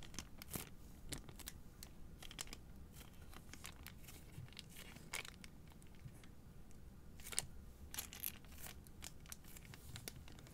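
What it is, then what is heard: Plastic-wrapped cardboard box. Long nails tap and scratch a single white Native deodorant cardboard box in clear plastic wrap, held in one hand. Quiet, bright crinkling clicks and scratchy rustles come in rapid irregular bursts, with a few sharper taps over a low, steady rumble.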